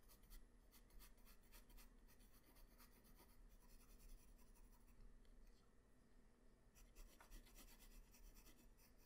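A graphite pencil tip draws facial lines on a flat white paper sheet, giving a quiet, steady scratching and rubbing over a low background rumble. Short, bright scratchy strokes come and go throughout the clip.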